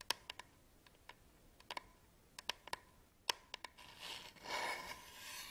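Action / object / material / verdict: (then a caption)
scrape / plastic camera battery charger / plastic / none. Fingertips and nails scratch and rub the textured sides of a small, hollow black plastic camera battery charger held close to the microphone. A series of sharp, dry, bright ticks and clicks with a faint ring near 1 kHz gives way to a steadier, hissy rubbing scrape in the last couple of seconds. There is almost no low end.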